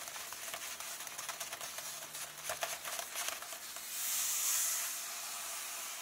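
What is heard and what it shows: Fingertips and nails tap repeatedly on the pages of an open illustrated paper book lying on a table, making quick, dry, papery ticks with no low end. Near the end, the fingers rub across the pages, and the taps give way to a brighter, smooth swelling hiss that fades out softly.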